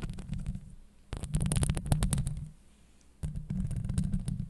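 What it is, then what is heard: Metal mesh microphone grille being scratched. Long acrylic nails on both hands scratch the hollow steel mesh grille of a Blue Yeti microphone. The result is a dense, rumbling low scrape centered near 150 Hz, overlaid with quick bright ticks. It comes in three bursts separated by quieter lulls.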